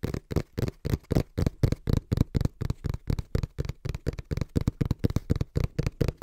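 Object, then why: Small cardboard box. Fingertips tap rhythmically on the printed face of a small, hollow brown cardboard box held in both hands. About 27 fast, soft, dull taps, roughly four per second and slightly uneven, each a low, hollow thud that stops almost at once.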